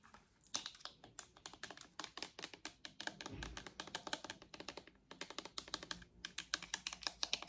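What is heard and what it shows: Long acrylic nails tap rapidly across the hollow purple and white plastic headband of a pair of wireless headphones. The result is a dense run of sharp, dry clicks with a bright, high character and almost no ring after each tap.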